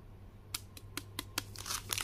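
A small, flat Alokozay Wafer Bites packet in a blue plastic foil wrapper, filled with a wafer bar, is held in both hands and crinkled and squeezed with the fingertips. Sharp, bright crackles come in separate bursts at first, then merge into denser crinkling toward the end, over a steady low hum.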